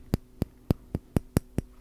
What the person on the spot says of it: And the raw egg. Tapping on it sounds more hollow. A little bit of a deeper sound.